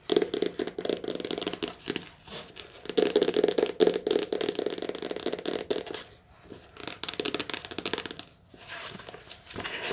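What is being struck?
Softcover paper book.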